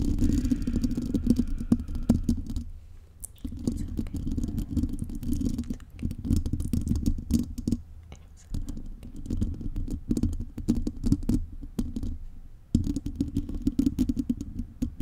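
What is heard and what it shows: Long painted nails scratch a metal mesh microphone grille, making a dense, rapid, scratchy rustle with a heavy low, muffled rumble. The scratching comes in bursts, with brief quieter lulls around 3, 8.5 and 12.5 seconds.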